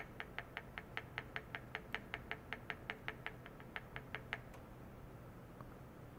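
A long white plastic rod repeatedly taps and rubs inside a small, empty, round and shallow stainless steel bowl resting on a white mesh pad, with a clamped probe attached to its rim and an oscilloscope nearby. More than twenty quick, evenly spaced metallic ticks ring briefly around 1.8 kHz with bright overtones, over a low steady hum. After about four and a half seconds they stop, leaving only the hum and one faint final tick.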